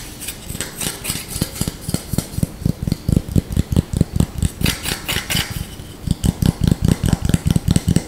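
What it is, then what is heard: Wooden spoon. Short nails scratch quickly and forcefully over the handle and bowl of a small, solid, light wooden spoon held in the hands. The result is a fast, uneven run of about 29 dry, dull knocks with almost no ring, topped by a faint bright scraping hiss. There is a brief lull near the six-second mark before the strokes resume.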